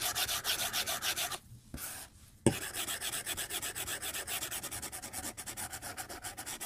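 A white plastic stylus is rubbed in dense coloring strokes across the glass touchscreen of a tablet in a white case. It makes rapid, bright, scratchy back-and-forth strokes, then a brief pause and a sharp tap. The quick rubbing strokes then resume steadily to the end.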